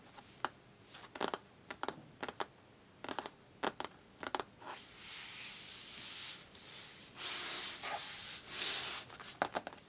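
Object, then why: Laminated cardboard hardcover book cover. Fingertips and nails tap and scratch on the solid front cover of a large closed hardcover book, a glossy laminated cardboard board printed with a flower pattern. Sharp, dry, bright taps come in quick clusters, give way to longer stretches of hissy scratching across the surface, then return at the end.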